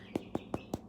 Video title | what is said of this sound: Artisan Bread Part 2 | especially on the bottom you can hear how it's hollow on the inside